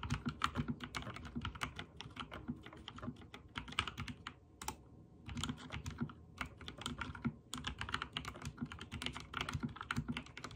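Fingertips type rapidly on a backlit mechanical keyboard with white and teal plastic keycaps, giving a dense run of short, crisp clicks and clacks with a low thocky body. The typing comes in bursts, with brief pauses near the middle and again shortly after, each keystroke dying away almost instantly.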